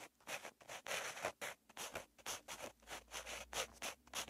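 A purple pen tip scratches across a lined paper notebook page while writing, making a quick series of dry, bright scratching strokes. The short strokes come in rapid bursts with brief pauses between them, with no low end and no ring after each stroke.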